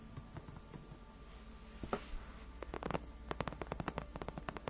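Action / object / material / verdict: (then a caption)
scrape / padded faux-leather chair backrest / faux leather / none. Long nails scratch along the edges and then the center of a large white padded faux-leather (PU) gaming chair backrest that is solid and cushioned. Quiet, low, muffled scratching gives way to a quick run of short, crisp strokes over a soft low hum.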